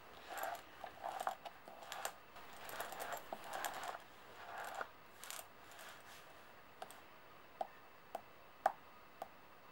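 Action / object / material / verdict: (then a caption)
tap / metal coins on a table / metal / none. Long painted nails and fingertips tap and slide a handful of brass-coloured metal coins spread on a white table. Soft metallic clinks and swishing slides fill the first half. Then five separate, sharp, short-ringing taps follow.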